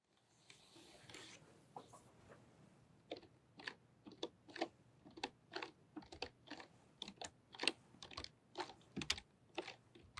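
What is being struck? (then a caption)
Plastic membrane computer keyboard. Long painted nails and fingertips type on a full-size pink-white plastic membrane computer keyboard with low flat keys resting on a fluffy rug. After a soft brushing start, about 19 quiet, dry, bright clicks and taps follow at an uneven pace, each dying away almost instantly with no ring.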